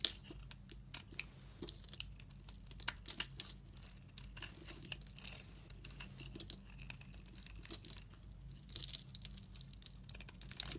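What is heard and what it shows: A solid, translucent, glittery brown bar of soap held in the hand is scraped into curls with a metal utility knife blade. The result is a quiet, steady run of crisp, bright scraping and crackling ticks, with occasional sharper snaps, over a faint low hum.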